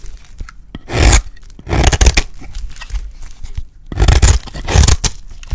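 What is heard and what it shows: A solid, dry yellow soap bar is held in the hand and scraped with a utility blade, cutting it into thin curls. Several rough, crunchy scraping strokes rise into broadband rasps with a bright, crisp edge. Quieter ticks and small scratches fill the pauses between them.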